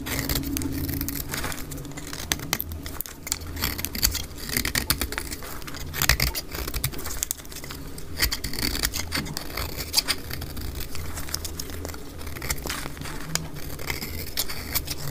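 A utility knife blade scrapes and slices thin shavings off a solid, dry cream soap bar held in the palm, played back at double speed. Dense, crisp scratching and rapid bright clicks run continuously over a steady low hum.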